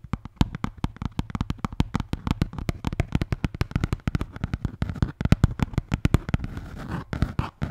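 A red Bintang beer can holder is tapped rapidly and scratched. The taps are dozens of dull, low, thumping hits that die away almost instantly. Toward the end they give way to short, hissy scratching bursts.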